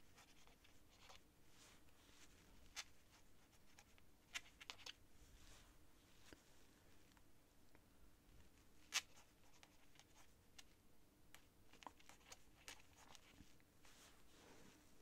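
A quill pen's nib scratches across a sheet of thin cream writing paper during handwriting. Faint, dry scratching runs under a low, steady hush, broken by brief bright ticks and scrapes as the nib catches, the sharpest one about nine seconds in.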